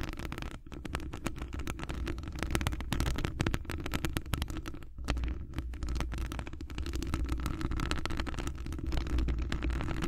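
Long acrylic nails on both hands scratch a hollow metal wire-mesh microphone grille, making a dense, continuous run of rapid scratchy ticks over a deep, rumbling low-end bed. The sound stays steady and close throughout, with brief dips in loudness.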